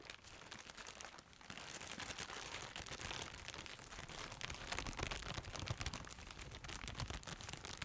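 A large, partly filled white plastic trash bag with a woven texture is held up and crumpled and rustled by black-gloved hands, while a second grey bag stands nearby untouched. Dense, continuous crinkling and crunching fills the clip with bright, hissy texture over a low rumble. It grows louder after the first second and a half and stays busy to the end.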